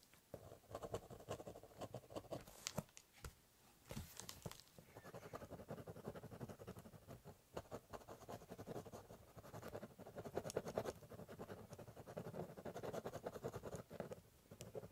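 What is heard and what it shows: A ballpoint pen cross-hatches on the top of a large corrugated cardboard box, making short, quiet, dry scratching strokes. The strokes come in a dense, steady patter with a brief pause near the four-second mark, and their scraping tone sits mostly in the mid range with little ring.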